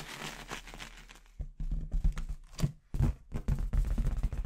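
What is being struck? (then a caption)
Inflated latex balloon with confetti inside. A clear, hollow, inflated latex balloon with a little red confetti inside is held in one hand and tapped with long red acrylic nails. It opens with a soft, bright rustling crinkle, then a quick run of short, dull, low thumps with sharp clicky edges that die away almost at once.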